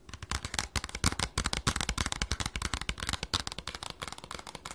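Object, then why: Small printed cardboard box. Fingernails rapidly tap and scratch the surface of a small, hollow, red printed cardboard package with a barcode. The result is a fast, uneven stream of dry, sharp clicks and scrapes, each with a soft hollow thump underneath and a bright crackling edge.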